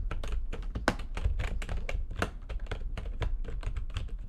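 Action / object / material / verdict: tap / plastic computer keyboard / plastic / none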